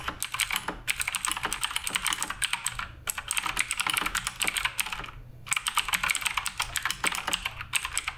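Fingertips type continuously on the plastic keycaps of a black RGB Redragon K588 Broadsword mechanical keyboard. Rapid, bright clacking keystrokes arrive in dense runs, broken by brief pauses near 0.8, 3 and 5.3 seconds. Each short, dry click dies away almost instantly.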